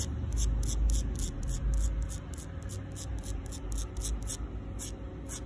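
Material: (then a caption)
Concrete. Long pink acrylic nails, on fingers wearing rings, scratch and tap across the rough surface of a flat, solid outdoor concrete sidewalk slab. Short, bright, gritty scratching bursts repeat at a quick, slightly uneven pace, about four per second, over a steady low rumble.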